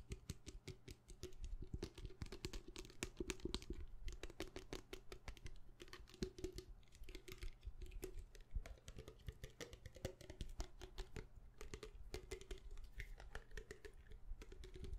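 A small clear plastic bottle with a white cap and liquid inside is held in the hand and tapped very fast with long painted nails. The result is a dense, continuous patter of short, dry clicks with little ring, carrying a heavy low-end body beneath a faint bright tick.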